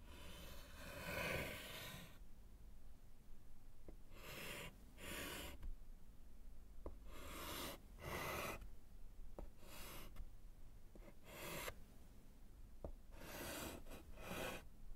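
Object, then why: Slate chalkboard in a wooden frame, written on with chalk. A gloved hand writes with white chalk on a small, flat, solid slate chalkboard in a wooden frame. Bursts of bright, raspy scratching from the chalk strokes are separated by brief pauses and a few sharp, short taps. The chalk makes a scratching sound against the board.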